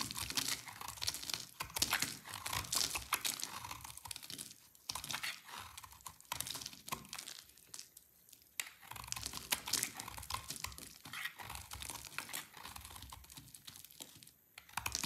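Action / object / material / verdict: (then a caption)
scrape / bar of soap carved with a blade / soap / none. A utility knife blade carves a solid, dry white Olivia soap bar with an orange core into chunky, crumbly shavings. The result is a dense run of crisp, bright crunching and crackling scrapes, with short quieter pauses between strokes.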